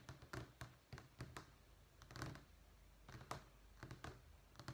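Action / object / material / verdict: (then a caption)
tap / vinyl flooring sample sheet / vinyl / none. Long fingernails tap and lightly scratch a thin, solid brown wood-effect vinyl flooring sample sheet resting on a stack in a sample book. Quick, dry clicks and soft thunks come in uneven bursts with very short ring, over a steady low hum.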